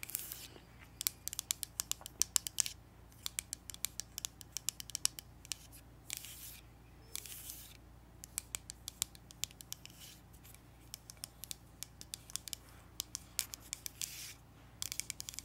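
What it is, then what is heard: Glass foundation bottle. Long acrylic nails tap and scratch along the body of a small frosted glass Rare Beauty foundation bottle with a white cap, held upright and full of beige liquid. Many sharp, dry, high clicks come in quick clusters, broken by brief bright scratchy bursts. The taps die away almost instantly, with no ring.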